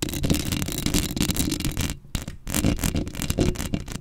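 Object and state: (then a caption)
Metal mesh microphone grille being scratched. Long acrylic nails scratch across the black metal mesh head of a microphone, making dense, close, crackling scrapes with a strong low rumble and a bright hiss on top. The scratching runs nearly nonstop, dropping briefly near the two-second mark before picking up again.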